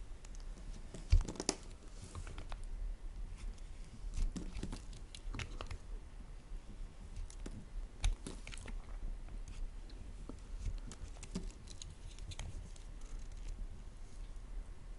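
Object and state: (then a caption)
Soap bar being peeled. A solid white bar of soap held in the hand is peeled with a plastic peeler, its shavings curling off. Quiet, dry scraping and crunching strokes repeat steadily throughout, with a couple of sharper, louder scrapes near the start and middle.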